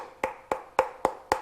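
A plastic bottle of Createx 4030 Balancing Clear, about two-thirds full of clear coat that has hardened solid, is tapped. Five short, dry knocks ring near 520 Hz and die away almost at once. The paint inside is set hard as a rock and does not move.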